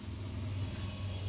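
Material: Nothing is struck.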